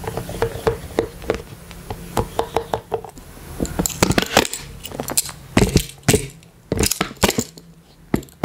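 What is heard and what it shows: Small plastic toy hands worn on the fingers tap and rub the ribbed sides of a hollow, pastel rainbow collapsible silicone water bottle with a pink cap and carabiner, held close to the mic. Irregular sharp, bright clicks and hollow taps come in uneven clusters over soft scratchy rubbing, with a faint steady low hum underneath.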